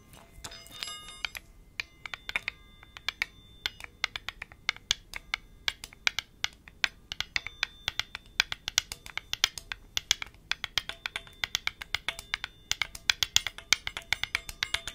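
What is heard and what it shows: A single small hollow blue enamelled metal Chinese medicine ball with an internal chime is cupped in one palm while the fingertips and nails of the other hand scratch and tap it, and metal rings on the fingers may touch it. Dense, quick, bright clicks and taps come through, with a faint ringing chime tone at the start. They carry on steadily and die out almost instantly, with little low end.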